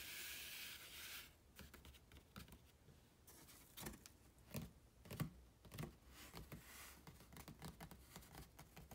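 Bare fingertips and a palm rub, scratch and tap along the side and top edge of a large, empty, open-topped corrugated cardboard shipping box printed with www.kohls.com. A steady, bright scratching hiss at the start gives way to irregular, hollow, dull taps and short rustling strokes that fade almost immediately.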